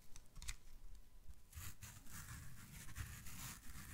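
A yellow foam kitchen sponge held in one hand is squeezed and compressed by the fingers. Faint crackles and a few sharp clicks come first, then from about 1.5 seconds a denser, bright, scratchy rustle over a soft low rumble. The squeezing continues steadily to the end.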